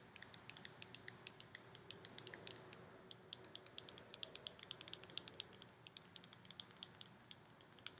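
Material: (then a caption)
Plastic. Long nails rapidly tap and squeeze a small round purple plastic tub with a clear lid, full of purple slime and held in the hands. The result is a quick stream of sharp, bright clicks over a soft plastic creak.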